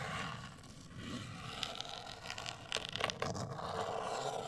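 Long acrylic nails scratch and tap a medium-size, hollow, black printed rigid cardboard cosmetic box. A continuous dry, papery scraping rasp runs throughout, broken by sharp, bright clicks from the taps, which cluster in the second half.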